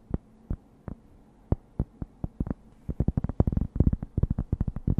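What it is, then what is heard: Cork board. A thin, solid, flat rectangular cork board is held up and tapped and scratched with long dark-painted nails. Short, dull, low thuds come slowly and sparsely at first, then speed up into a quicker, denser run of taps. Each tap dies away almost instantly.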